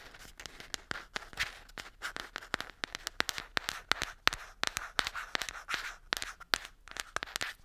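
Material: Plastic.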